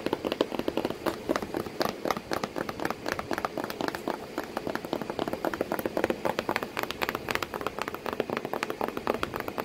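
Long pointed nails tap and scratch on the flat flap of a corrugated cardboard box with a cat sitting inside it. A steady stream of quick, dry, papery taps with a hollow mid-range knock, layered over a continuous soft scratching rustle. Each tap dies away almost instantly.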